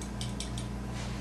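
The fire button on an eVic-VT vape mod is tapped repeatedly, giving quick, bright, rattly clicks over a steady low hum. The button is loose and noisy, which raises concern it could become a problem someday, though so far there has been no auto-fire and no sticking.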